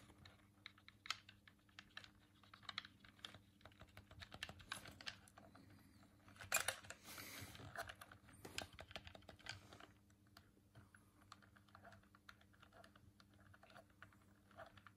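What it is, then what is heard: Plastic game controller buttons. A hollow white plastic Dreamcast controller is held in both hands while the thumbs click its face buttons. The result is a steady stream of quiet, sharp, bright plastic clicks with very little low end, and a denser, louder flurry of clicking in the middle.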